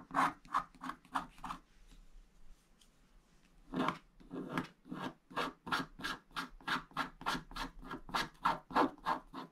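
A wooden stick scratches the wax coating off a flat scratch-art paper page, black coating over blue foil. Short, dry, rasping strokes come in a quick rhythmic run, pause for about two seconds, then resume in a longer, steady series.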